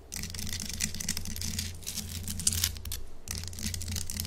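Long acrylic nails scratch and tap on a large, solid pink Himalayan salt chunk held close. Fast, bright, gritty scraping comes in bursts over a steady low hum, with a couple of sharper clicks standing out near the middle.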